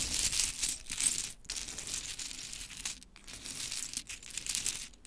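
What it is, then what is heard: Pile of small wooden clothespins. Long pointed chrome nails tap and rake through a loose pile of mini pink wooden clothespins. A dense, bright clatter of small clicks and rustling scrapes runs throughout, with brief pauses between strokes and very little low end.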